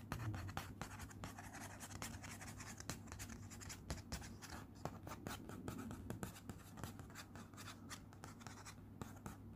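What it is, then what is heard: Paper envelope. Fingertips and nails rapidly tap and scratch across a flat, cream, hand-addressed paper envelope lying on a teal cloth. Quick, crisp taps alternate with dry, rustling scratches, all set over a steady low hum. The sound is quiet and close throughout.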